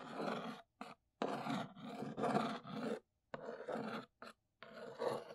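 Long pink nails trace and scratch across the top of a large, hollow brown corrugated cardboard box with NEEWER print, lying flat. Rough, raspy scratching comes in six separate bursts split by brief silences, with a dry, papery, mid-range texture.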